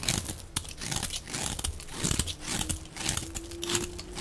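A metal utility blade scrapes a hand-held, hand-sized solid bar of dry white-yellow soap with a blue outer rim, shaving off crumbly flakes. A rapid run of crisp, crunchy scrapes and crackles with bright hissy edges sits over soft low thuds, with a faint steady tone near the end.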